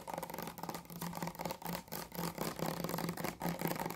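Long nails tap and scratch a clear plastic micellar water bottle full of pink liquid, working over its body and white plastic cap. A quick run of light, hollow plastic clicks and scrapes with a steady low tone around 160 Hz. The taps come in bursts and blur together as they speed up.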